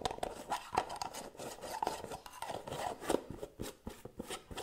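Long nails scratch and rub the gold metal lid and rim of a small round white cosmetic jar held in one hand. The result is a quick, fast run of dry scraping and tapping with short, sharp clicks. The sound is mostly midrange with little ring.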